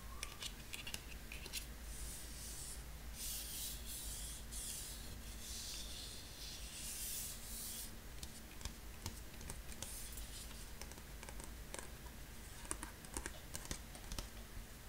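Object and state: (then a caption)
Cardstock card being rubbed and scratched. Fingertips and nails rub and scratch the surface of a thin beige printed cardstock card held flat in the hand. A quiet, steady, bright scraping hiss runs over a low hum, with sharp little ticks and scratches coming through more often in the second half.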